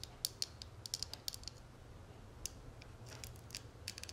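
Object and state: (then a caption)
Metal cigarette case. Fingernails tap and scratch the dotted, textured inner surface of an open, hollow gold metal cigarette case. The result is a quick, uneven series of sharp, bright clicks and ticks that stop dead with no ring, over a faint low hum.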